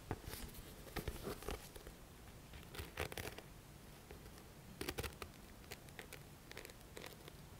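Fingertips scratch and rub the page edges and back cover of a thick paperback book held sideways. Quiet, dry bursts of scratchy, papery rustling come in irregular clusters, with brief bright crackles over a faint low background.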